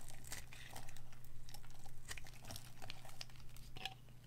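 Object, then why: Bar of dry soap. A palm-sized, green and white striped bar of dry solid soap, held in a hand with long gold and black nails, is shaved and scraped with a small metal craft blade. Dry, crinkly scrapes and short crumbly crunches come at an irregular pace over a steady low hum, as green shavings crumble off the bar.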